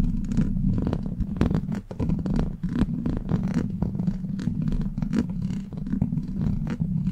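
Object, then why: Steel mesh microphone grille scratched with plastic nails. Long black plastic claw nails scratch and tap a hollow steel mesh microphone grille, making a dense, continuous run of gritty scraping and quick tapping over a deep, rumbling low end. The texture stays steady throughout, with brief bright scratchy flicks standing out above the muffled, purr-like drone.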